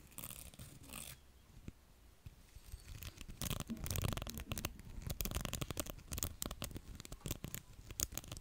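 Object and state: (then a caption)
Plastic pin hair brush. A small round beige plastic hair brush with dense pin bristles is held close to a microphone while fingertips flick and scratch along its rows of pins. After a quieter scratchy start, bursts of rapid, irregular bright clicks and crackles build up, each snapping off at once with a soft low rumble beneath.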